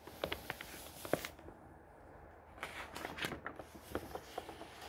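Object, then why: Glossy paper pages of a thick hardcover book. A hand smooths a page of a thick hardcover book of glossy printed paper, then fingertips lift and turn its pages. Quiet, crisp paper ticks and brief bright rustles come in bursts, with a softer hush in the middle before the page turns pick up again.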